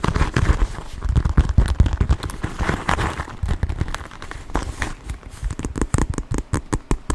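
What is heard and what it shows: A small black quilted leather handbag, soft and hollow, is squeezed and folded close to the microphone and tapped with fingertips, the same bag throughout. Dense, low, muffled thumps and crinkly leather rustling fill the first half. Toward the end the sound thins into quicker, sharper, clearly separated taps.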